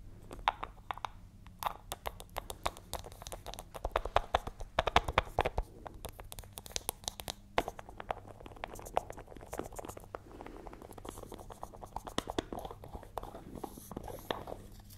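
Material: Metal.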